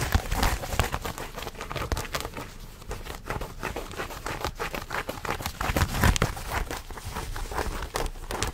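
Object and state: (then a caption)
Denim jeans scratched. Fingertips scratch and rub thick blue denim jeans held close to a microphone. The result is a steady, dense stream of rapid rasping and crinkling scrapes over a low, rumbling body, with short crisp bursts that briefly brighten the texture.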